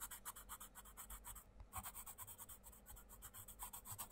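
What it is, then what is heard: Coloured pencil scratching on a colouring book page. A wooden coloured pencil makes rapid rubbing, scratching strokes across the paper page of an open colouring book resting on a wooden desk, while the other hand holds the book open. About thirty quick, bright, papery scrapes come in a steady rhythm, with a brief pause near the middle, over a low, soft rumble.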